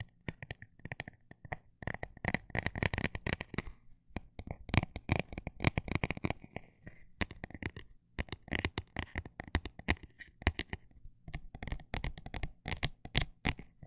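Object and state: Textured plastic tapped.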